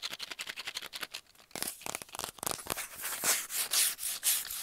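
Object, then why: Kraft cardboard mailing tube. A hollow kraft cardboard mailing tube, about 25 cm long, is rubbed and scratched with the fingernails along its surface. Quick, bright, hissing scratch strokes follow one another, growing louder and more sustained toward the end.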